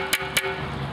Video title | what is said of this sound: Selecting Quality Pottery | if you tap on it with a metallic object and it has a metallic ping to it it means it's very quality high temperature fire pottery